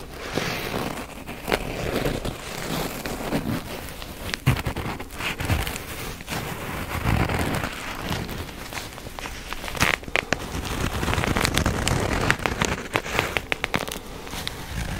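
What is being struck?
Nylon fabric-covered first-aid kit case.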